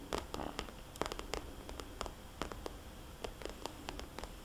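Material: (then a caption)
Plastic. A small red polka-dot glossy plastic cosmetics bag, a hollow pouch held upright at an angle, is tapped with long dark-polished fingernails. The result is an irregular run of short, crisp clicks with bright edges, each dying away almost instantly, over a faint low hiss.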